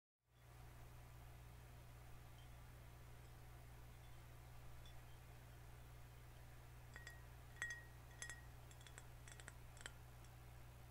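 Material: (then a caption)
Glass. A vintage-style green glass soda bottle with a paper label, closed and filled with liquid, is held in both hands and tapped with fingernails on the glass and the label. Light, scattered clicks and brief bright glassy pings with a short ring around 1.9 kHz sit over a steady low hum, growing denser in the second half.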